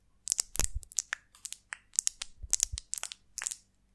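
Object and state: Beeswax honeycomb.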